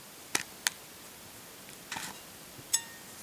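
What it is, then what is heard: Hard-boiled egg shell being peeled. Fingers and nails pick small pieces of shell off a brown, partly peeled hard-boiled egg. Four short, bright cracks stand out against a quiet background, the third a brief crackling cluster and the last with a faint ringing tail.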